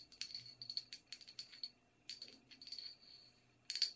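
Long red nails tap and scratch the outside and rim of a small, empty, hollow white porcelain teacup with a silver band. The result is a quiet series of bright, clicky taps, each with a short high ring, and softer scratching passes in between.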